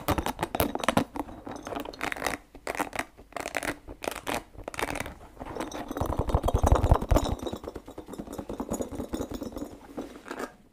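Fingertips and nails scratch and squeeze the spikes of a small, hollow, orange and green spiky rubber ball held close up. The result is dense, irregular bursts of crisp scratching and crackly rubbing, with deeper squeezing thumps swelling around the middle of the clip.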